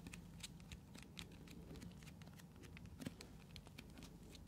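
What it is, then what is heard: Plastic container. Long nails tap and scratch the sides of a hand-sized blue translucent plastic container or cup, held in both hands, that seems hollow or partly filled. A quiet, steady run of rapid, dry clicks and bright ticks sits over a low hum, and each sound dies away almost instantly.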